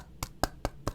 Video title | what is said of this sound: adidas Adizero Boston 10 - Is This The Right Shoe For You? | you can hear just how hard that is it's carbon fiber plate